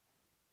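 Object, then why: Aluminum table surface. A single light knock on an aluminum table surface, given as a "knock on wood" gesture. It is a short, bright tick that dies away almost instantly, near the end of an otherwise quiet clip.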